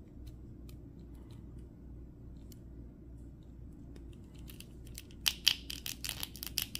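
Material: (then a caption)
Plastic. A small red and gold 2023 Flash action figure of hollow molded plastic with ratchet joints is held in both hands while fingertips bend and twist its leg and foot joints. Faint, soft ticks over a low steady hum give way in the last seconds to a quick run of sharp, bright clicks and crunches.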